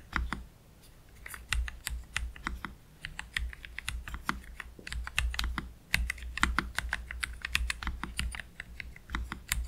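Slow typing with both hands' fingertips on a low-profile black Keychron K3 Pro mechanical keyboard with Gateron Red low-profile switches and PBT plastic keycaps, resting on a cloth deskmat. Quick, bright keystroke clacks come in uneven bursts, each dying away almost at once, over a steady low hum.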